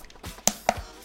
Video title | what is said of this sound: Budz Volk Review! One of Bluetooth Speaker Terbaik Di Bawah 500 Ribu! | kalau gua ketok kayak gini tuh kerasa aja gitu gak ada yang kopong di bagian dalam